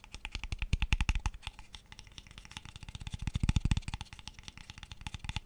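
A small, light-coloured hollow wooden box with open ends is held up in front of the mic and tapped fast with fingertips and nails. The result is a rapid stream of dry, clicky taps with a deep, hollow low thump and bright clicky edges. Each tap dies away almost instantly, with louder bursts near the start and again around the middle.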